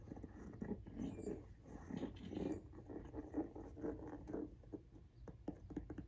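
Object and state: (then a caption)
Rubber shoe sole. Fingernails tap and scratch the tread of a pink rubber outsole on a Jordan 1 High "Washed Pink" sneaker, held vertically. Soft, dull, muffled taps mix with brief scratchy rasps, mostly low-mid in tone, each dying away almost at once.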